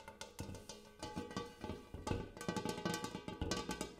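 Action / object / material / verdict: tap / large metal bowl / metal / none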